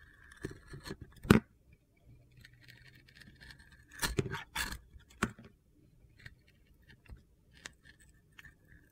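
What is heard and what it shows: A utility-knife blade carves thin pieces off a hand-sized solid orange soap bar with a glitter stripe, held in the hand. Quiet, gritty scraping and crunchy cuts come in short bursts, with a few sharper clicks and a faint low hum between them.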